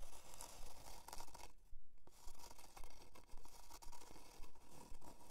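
Long dark nails scratch a solid, flat plywood heart-shaped plaque with a twine hanger, lying on faux fur. About 17 dry, rasping scratch strokes come in a fairly steady rhythm, with a brief quieter lull in the first half. Each stroke is short with almost no ring.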